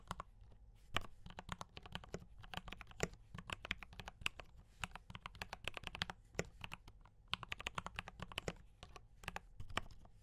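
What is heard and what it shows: Both hands type steadily with their fingertips on a D84 mechanical keyboard with brown switches and cream and red plastic keycaps. The result is a fast, uneven stream of short, dry clacks, each with a bright tick over a low thock, and no ring after each press.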